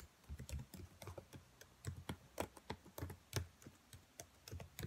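Long nails type and tap on the black plastic keys of a dark laptop keyboard. They produce a quick, uneven run of about twenty soft clicks, each a low, dull thud with a faint bright tick on top. Every tap dies away almost at once.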